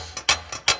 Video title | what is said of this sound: Building The Little Sliver - Ep.4 - Rigid TS3650 Table Saw Cleaning and Tuning | you can hear that it rattles when I tap this back corner